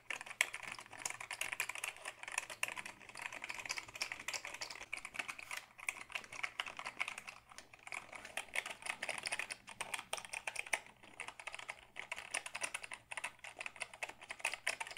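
Fingertips type steadily on a tilted black Dell keyboard made of hollow plastic. The sound is a fast, continuous run of bright, dry plastic clicks with little low end, centered around 2 kHz. The typing comes in bursts, with brief pauses near 6, 7.5 and 11 to 12 seconds.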